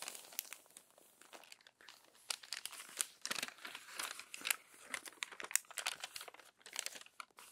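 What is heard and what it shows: Hands flatten and turn the crumpled pages of an open glossy paper magazine, making quiet, bright crinkling and crumpling sounds. The sound comes as many short, dry crackles with almost no low end and no ringing.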